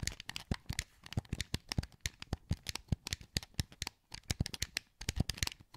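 A hollow, translucent green plastic PS2 wireless controller is held in both hands while fingertips click its buttons and sticks. Quick, dry clicks come in irregular bursts, each with a soft low thump and a bright plastic tick that stops almost at once, with short quiet gaps between the runs.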